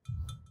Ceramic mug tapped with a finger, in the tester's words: tap on it with your finger, yeah, sounds like glass